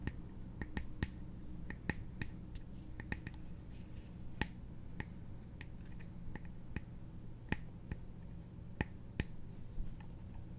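Long nails tap and scratch the brown embossed wooden surface of a small hollow trinket box with a metal clasp, held in both hands. About twenty sharp, dry clicks with very short ring stand out over a steady low hum and soft scratching.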